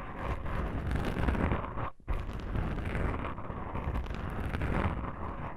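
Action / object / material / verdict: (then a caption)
scrape / foam microphone windscreen / foam / none. Long pink nails on both hands scratch black foam microphone windscreens. The soft foam gives a dense, continuous, rumbling scratch, heavy in the low end with little high content. It pauses briefly near the two-second mark, then resumes at the same steady texture.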